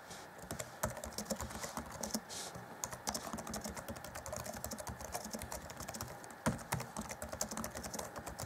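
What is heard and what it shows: Fingertips of both hands type rapidly on the black plastic chiclet keys of the grey keyboard deck of an Acer Chromebook C20 (2014) laptop. A dense, continuous patter of quick, short, dry plastic clicks plays throughout, with a few sharper, louder key strikes standing out.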